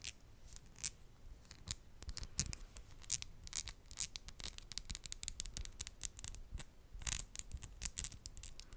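Long, decorated gold and pastel acrylic fingernails on both hands are tapped and clicked against each other close to a microphone, the small, hard, thin nails themselves making the sound. A rapid, irregular stream of sharp, bright clicks and light scratchy rubs is heard, each click dying away almost instantly over a faint low background.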